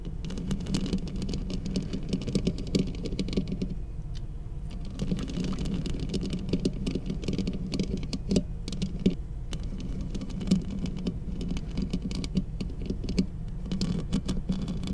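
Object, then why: Metal studio microphone body. Long acrylic nails on both hands tap and scratch the hollow metal housing of a large black cylindrical studio microphone body. The result is a quick, steady patter of small clicks and scrapes over a deep, resonant low hum that eases briefly around the fourth second before the tapping resumes. A few slightly sharper taps stand out along the way.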